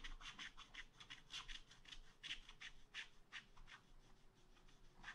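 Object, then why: Wax-coated scratch art paper scratched with a wooden stylus. A wooden stylus scratches a second tree into a black wax-coated scratch art paper page in a spiral pad. Quick, irregular strokes make dry, bright scratching bursts, each fading almost at once. A faint low hum runs underneath.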